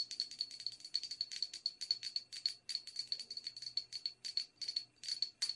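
Long red nails tap and scratch the outside and rim of a small, hollow, empty white porcelain teacup with a silver band. Quick runs of bright, clicking taps and scrapes each carry a faint high ring that dies away almost at once, with short pauses between bursts.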